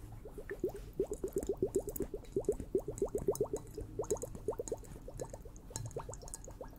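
A liquid-filled water hourglass is tapped quickly and somewhat unevenly, giving dozens of short, damped knocks. Each knock carries a bubbly, upward-gliding tone from the liquid, with faint bright clicks above.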